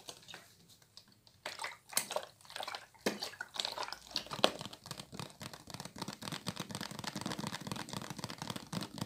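A clear plastic water bottle with a green label and cap, partly filled with water, is held in both hands and tapped and handled with long light nails. Sparse crinkly taps in the first few seconds build into a dense, steady stream of quick, bright clicks and plastic crackles, with the water possibly sloshing inside.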